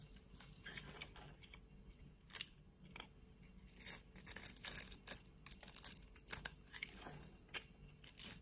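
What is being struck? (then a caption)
Solid soap bar. A solid, opaque purple soap bar has its scored pieces crumbled off by fingers and a blade, with flakes falling away. The result is a quiet run of dry, crisp crackles and scraping bursts, bright and high-pitched with little low end. The bursts swell louder in the middle before easing off.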